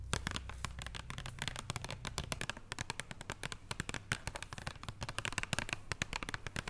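Long nails tap and scratch the paper or card wrapper over foil on a flat chocolate bar lying on a wooden table. Rapid, dense, crisp ticks and papery crackles with bright high edges sit over a steady low hum.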